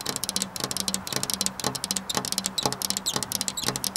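Long black nails on both hands tap rapidly across a flat glass window pane. The result is a steady stream of sharp, bright clicks that stop almost instantly, with a faint low hum underneath.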